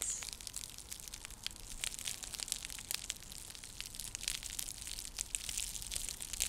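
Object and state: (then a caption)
Woven seagrass coaster. A round, flat, coiled woven straw or seagrass coaster (trivet) is held near the microphone and scratched and tapped with long nails. The result is a steady stream of bright, crackly scratching with many short, dry clicks and taps. It is quiet throughout, with almost no low end or ring.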